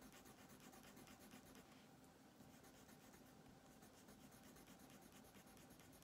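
A green colored pencil scratches across a thin paper coloring page on a wooden table in repeated shading strokes, while the other hand holds the paper down. The sound is a quiet, steady, dry rasp with bright, rhythmic scratchy pulses and a faint low hum underneath.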